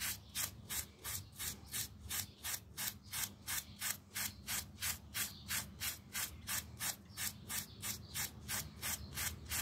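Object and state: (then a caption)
Small pile rug being scrubbed. A small, round miniature pile carpet, wet with some foam around it and lying flat on a tile floor, is held down by a thumb and scrubbed with a yellow plastic toothbrush. About 23 quick, bright, bristly scrubbing strokes repeat at a steady rhythm of roughly three per second. A faint low hum runs underneath.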